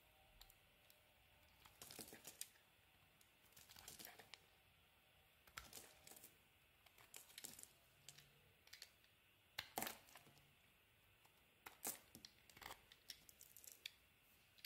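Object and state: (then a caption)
Soap bar being shaved with a blade. A metal blade shaves a solid cream-colored olive and argan soap bar, with the flakes piling up on the table below. Quiet, irregular bursts of crisp scraping and crackling come in short clusters, bright and dry with little low end.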